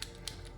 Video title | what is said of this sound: 2007-2025 RAM HD 2500 6.4L HD Replace Positive Crankcase Ventilation (PCV) Valve | if it rattles loud like I have it here I would say it's functioning